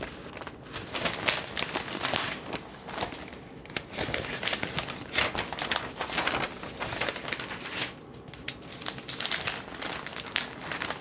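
Hands and fingertips fold, flip and crinkle the pages of a large, thin newsprint Globe & Mail newspaper lying on a table. The result is a continuous run of bright, crackly rustles and crinkles in uneven bursts, with little low end and quick, dry decays.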